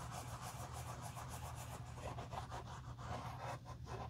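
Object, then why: Leather driving shoe. A soft cotton cloth rubs the outer side and inner collar of a hollow, empty black pebbled-leather Tod's driving loafer held in a gloved hand. Quick, repeated brushing strokes make a steady, quiet swishing with a little high texture, over a constant low hum.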